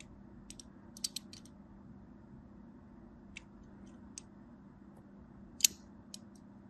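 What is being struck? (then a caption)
Bar of soap. A small black blade with an orange handle scores crisscross lines into the surface of a solid, hand-sized purple and white striped bar of soap held in one hand. Sharp, bright scratching clicks come in short bursts over a steady low hum, with the loudest scrape near the end.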